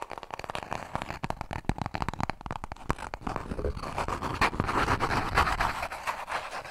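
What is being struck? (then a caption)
Paper toilet roll. A small, full roll of white toilet paper, held close to the mic, is rubbed and scratched with fingertips and nails. It makes a rapid, uneven run of short, dry, papery scratches and taps. After a few seconds this turns into steadier, louder, brighter rasping.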